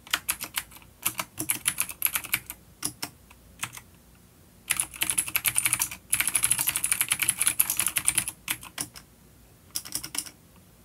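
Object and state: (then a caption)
Vintage clicky mechanical keyboard. Fingertips of both hands type on a full-size dark plastic vintage mechanical keyboard with clicky blue switches and grey keycaps, resting on a wooden desk. Bright, sharp clicks come in quick bursts with short pauses between them. Each keystroke dies away almost instantly, with little low-end weight.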